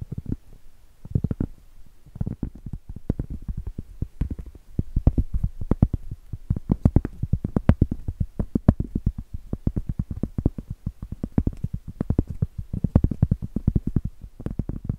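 A round solid cork board is scratched and tapped on its edge and face with long acrylic nails. The sound is a dense run of dull, low, muffled taps and scratchy clicks with very short decay, coming in bursts across the clip.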